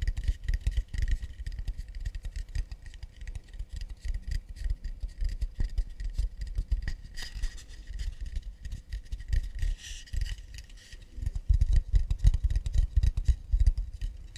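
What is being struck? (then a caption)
Acacia wood plate. Fast, light tapping on an acacia wood plate gives a dense run of short, dull wooden knocks with almost no ring. The taps come at an uneven pace and grow slightly louder and heavier near the end.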